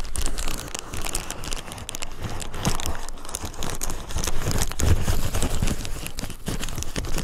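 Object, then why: Plastic bubble wrap sheet. Fingertips and nails scratch and pinch clear plastic bubble wrap lying on a dark surface beside a foam mic. A steady stream of soft crinkling and crackling with short scratchy bursts continues throughout, with a low, muffled body.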